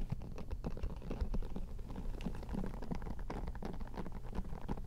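Long painted fingernails scratch and strum across the dense bristles of a handheld, round-headed hairbrush with a lime-green plastic handle, held close to the microphones. It makes a steady, fast, crackling patter of tiny flicks. The sound is soft and mostly low and muffled, with each flick dying away almost at once.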